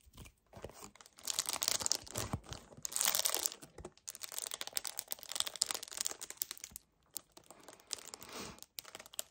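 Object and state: Paperboard carton, squeezed and scratched.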